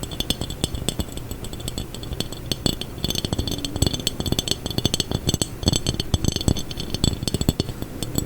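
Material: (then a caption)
Glass. A textured glass jar is tapped, scraped and rattled in quick, uneven bursts. Dense clicky taps carry a low body thump under bright glassy clinks. Each sound dies away almost at once with no lingering ring.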